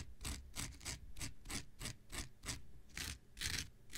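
An X-Acto knife blade scratches across a thin, hand-sized blue non-woven synthetic fiber scouring pad held and slightly bent in the hand. It makes a series of short, bright, raspy scrapes, each a quick burst of fibrous scratching with a soft low rumble beneath, repeating at a loose, uneven pace.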